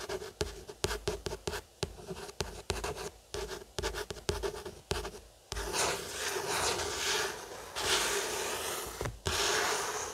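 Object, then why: Paperback book with card cover. Fingertips and short nails scratch and trace across the matte card cover of a closed paperback novel, Mansfield Park, lying flat on a wooden table. The first half is a run of short, dry, irregular scratches. It then shifts into a louder, continuous bright rubbing with a brief pause near the end.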